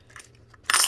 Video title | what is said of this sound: New Combi Bars By Valcambi & Other Bullion at Ohio Trading Coin & Jewelry | that silver ping is what people are looking for